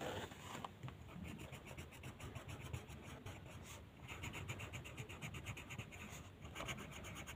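The tip of a green colored pencil rubs and scratches back and forth across a flat white paper mandala coloring sheet lying on a table. A quiet, steady, rhythmic rasp of quick coloring strokes with a bright, papery scratch on top, pausing briefly mid-clip before resuming.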